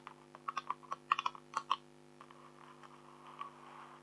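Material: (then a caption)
Coated card. Long acrylic nails on both hands tap and click on an A4-size black scratch-art card with a silver tiger image lying flat. A quick, uneven run of about a dozen sharp, dry clicks fills the first two seconds, then fades into faint, softer tapping with one more light click near the end.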